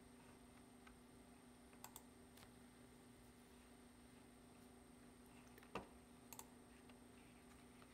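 Fingertips press the keys of a black plastic computer keyboard in close-up, making sparse, quiet typing taps with short, dry clicks. A steady low hum and a faint high whine sit underneath, with the loudest tap near the end.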